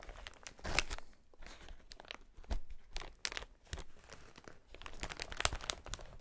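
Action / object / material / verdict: scrape / plastic air-cushion packaging sheet / plastic / none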